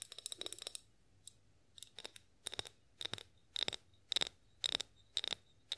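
A partly filled clear glass olive oil bottle with a pour spout, held in both hands, is tapped and scratched with long acrylic nails. Quiet, bright clicking taps arrive in short irregular bursts, each with a brief glassy ring around 3.8 kHz, opening with a quick scratchy flurry.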